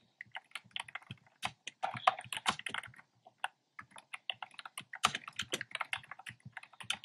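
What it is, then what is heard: Plastic keyboard being typed on. Fingertips with short nails type on a black plastic keyboard with hollow, round retro-style plastic keycaps in cream, pink and red. A fast, uneven run of dry, hollow clicky taps sounds in bursts, with a brief pause near the middle. The taps are bright and clacky, with almost no low end and no ring after each keystroke.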